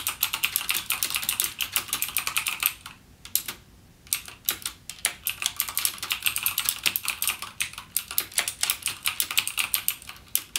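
Fingertips type rapidly and continuously on a full-size backlit mechanical gaming keyboard with plastic keycaps and clicky Cherry MX Blue switches. The result is a dense run of sharp, bright clicks with almost no low end, broken by a brief pause near the three-second mark before the typing resumes.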